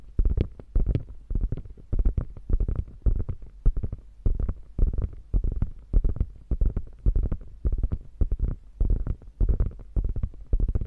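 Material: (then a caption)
Faux leather. Long painted fingernails scratch and tap the padded top panel of a hollow, beige quilted faux leather crossbody bag. The result is a steady stream of soft, dull, low thumps and brief scratchy rustles in uneven clusters, each dying away almost instantly with no ring.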